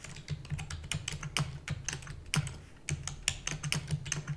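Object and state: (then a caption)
Plastic computer keyboard being typed on. Rapid typing with fingertips and long natural nails on a full-size black plastic computer keyboard with plastic keys and a hollow housing. It produces a quick, uneven stream of short, dry, bright clicks and clacks that die away almost instantly. A steady low hum runs underneath throughout.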